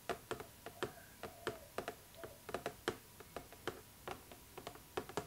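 Long nails tap the clear plastic window of a cardboard Barbie doll box, making 21 quick, light, clicky taps at an uneven pace. Each tap is short and crisp, with a faint hollow ring that dies away almost at once.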